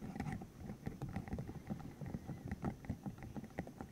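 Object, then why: Spiky silicone tube. A green hollow silicone tube about 15 cm long, covered in rubbery spikes, is held in the hands while its spikes are flicked, squeezed and rubbed with the fingertips. The result is a steady run of soft, dull, low-pitched rubbery taps and squishes that die away almost at once, layered over faint rustling friction.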